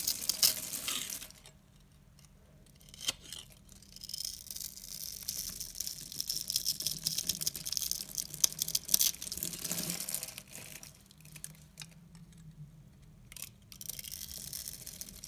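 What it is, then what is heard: Dry bar soap being scraped and cut. A utility knife blade scrapes and cuts the grid-scored surface of a solid peach dry soap bar held in hand, and brittle soap pieces crumble off. The sound is crisp, bright crackling and scraping that comes in bursts, with quieter pauses around the 2-second mark and again between 11 and 12 seconds.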